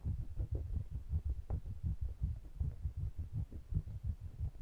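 Fingertips rub and stroke the metal bodies of two small pencil condenser microphones with metal mesh grilles, held in the fingers. The result is a dense run of quick, irregular low thumps and muffled rumbles, nearly all deep bass with no high or bright content, each bump dying away almost instantly.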